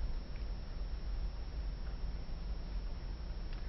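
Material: Nothing is struck.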